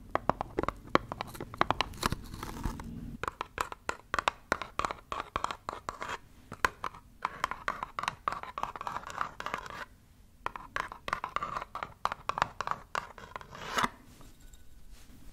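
Long nails scratch and tap rapidly on a small, hollow, brown printed cardboard box held up close to the mic. The result is a dense stream of crisp, dry clicks and scratchy rasps centered around 1 kHz, with very short decays and a brief lull near the ten-second mark.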